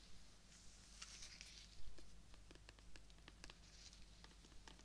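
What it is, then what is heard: Rose stem. Fingertips and nails scratch and tap along the length of a long, thin, solid green stem of a fresh, live rose held horizontally. The result is a quiet series of short, bright, crisp clicks and soft scratchy rustles over a steady low hum, with one slightly louder soft tap near the middle.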